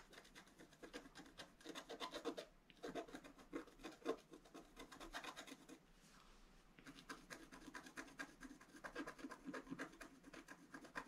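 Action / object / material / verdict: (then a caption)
scrape / black-coated scratch-art paper card scraped with a wooden stylus / coated paper / none. A wooden stylus makes rapid scratches across the right-side flowers on a flat black-coated scratch-art paper card. The result is dense, dry, rasping strokes with a bright edge, broken by a brief quieter stretch around the six-second mark before the scratching resumes.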